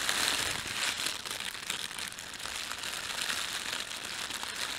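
Fingertips rub and crumple the film of an empty, thin, red printed plastic bread bag. A steady, bright crinkling and rustling carries on without a break, concentrated in the high range with almost no low end.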